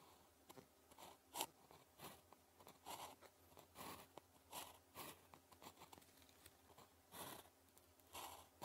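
A blue plastic ballpoint pen, held in the fingers, writes with its tip on a thin grid-printed paper calligraphy practice sheet lying flat on a desk. Quiet, dry scratching strokes come in short bursts, with a bright, papery edge, and fall silent almost at once between marks.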